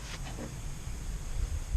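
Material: Nothing is struck.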